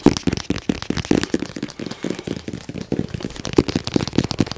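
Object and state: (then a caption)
Cardboard box under fast fingernail tapping. A medium-size, hollow white printed cardboard box with a picture of a round device on it is tapped rapidly with fingernails and fingertips. The fast tapping makes a dense run of dry, hollow knocks centered in the low-mids, mixed with sharper bright nail clicks. Each tap dies out almost instantly.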